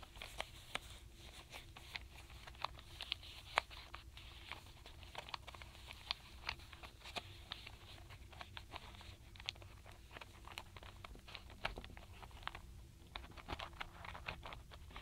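Long nails tap rapidly on the tops of solid wooden alphabet letter stamp blocks packed in a paperboard box. The result is a steady stream of quick, dry, bright clicks that stop instantly without ringing, over a faint low background hum.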